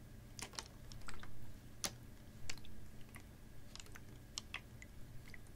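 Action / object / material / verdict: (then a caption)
tap / capped plastic water bottle, part full of water / plastic / none. A clear, ribbed PET water bottle, capped and about half full of water, is tilted and tapped with fingernails. Sharp, bright clicking taps arrive at an irregular pace, with soft swells of water movement, over a low, steady background hum.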